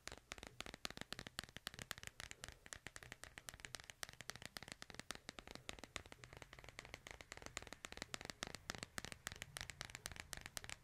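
Fingernails tap and scratch the back of a smartphone in a white plastic case held in one hand. The result is a steady run of quick, sharp, bright clicks with very short ring, mixed with soft scratching over a quiet low rumble.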